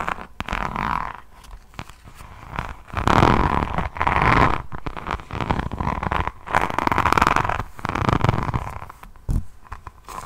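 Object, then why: Notebook with resin rhinestone cover. A rhinestone-covered hardcover diamond painting notebook with a resin drill surface is tilted and held close to the mic while long fingernails scratch and tap across it. The result is dense, crunchy scratching in bursts, with a low rumbling body and a steady midrange tone near 1 kHz. Quieter pauses separate the swells.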